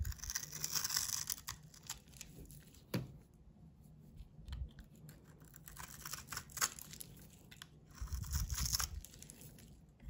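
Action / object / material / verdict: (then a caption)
scrape / coated soap bar / soap / none. A utility knife blade scrapes a solid, hand-sized bar of soap with a blue painted, textured coating, shaving it into white curls. Each pass makes a bright, crisp scratching and crackling sound, with short bursts coming irregularly and quieter gaps between them.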